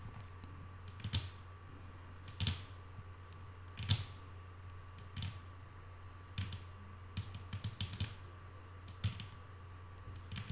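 Long nail tips, with the fingers curled, tap a flat, solid wooden tabletop. They make sharp, bright clicks in irregular bursts, some single and some in quick clusters. Underneath runs a steady low hum and a faint constant tone near 1.1 kHz.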